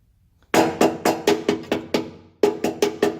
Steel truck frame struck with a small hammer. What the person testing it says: tap it, and you can hear the difference